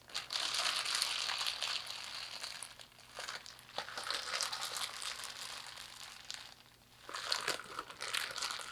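A thin clear plastic bag with small items inside is squeezed and crinkled by hands and fingertips. It makes dense, bright crackling crinkles in continuous bursts that ease off briefly around three seconds and again just before seven seconds, then pick back up.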